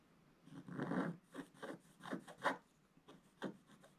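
A wooden stylus scratches the black coating off a flat, solid scratch-art paper card. About eight short, soft rasping strokes are heard, starting with a longer scrape and followed by quicker, dry scratches with a papery, mid-range texture.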